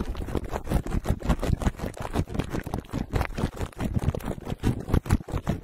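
Fingertips of both hands tap and lightly scratch the hollow metal mesh dome grille of a black microphone wrapped in clear plastic cling film. The result is a dense, continuous run of quick, muffled, bassy thumps mixed with soft crinkling scratches, with each tap dying away almost at once.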